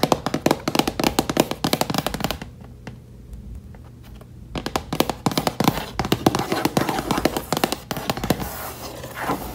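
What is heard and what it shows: Fingertips and long nails tap and drum rapidly across the flat lid of a closed, hollow box-style case with a reddish mahogany wood-grain finish and metal latches at the front edge. The dry, short hollow knocks come in quick bursts, pause briefly for about two seconds near the start, then resume as steady tapping with a low background hum.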